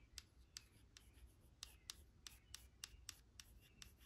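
A 16 oz Cantu shea butter cream jar, a white plastic body with an orange lid and filled with cream, is held in one hand and tapped and scratched on its label side with long acrylic nails. Eleven sharp, bright clicks ring out over faint scratching and a low background rumble, each dying away almost instantly.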